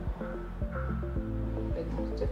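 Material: Nothing is struck.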